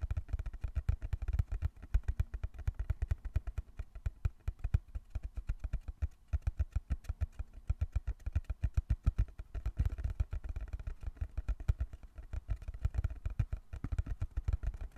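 Fingertips tap quickly on the surface of a small, closed, hollow brown cardboard box held in both hands. The result is a rapid, continuous stream of short, dry, low thuds with almost no ring, some taps landing harder than others.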